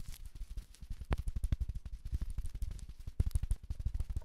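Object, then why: Fleece fabric jacket scratched with battery tips. AA batteries worn like long fingernails scratch and tap across a navy sherpa fleece jacket with a felt letter patch, worn by the wearer. A rapid, uneven stream of short, dull, low thuds and soft brushing scratches is heard, with a few sharper taps standing out, and each sound dies away almost instantly.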